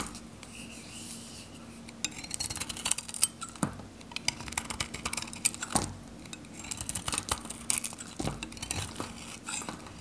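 A steel knife blade shaves and scrapes a palm-sized, hand-held bar of varnished, dried Godrej No.1 soap, with a red outer layer with purple lines and a pink interior, cutting it into flakes. Dense runs of short, bright, crisp scraping and crackling ticks come with almost no ring, over a faint steady low hum.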